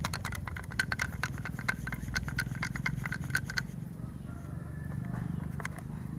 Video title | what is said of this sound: LIVE STREAMING CIK RADEN PRADANA KUSUMA PEMBUKTIAN NYATA PUSAKA BUNDA RATU KIDUL | tapi dalamnya ini ada ada bunyinya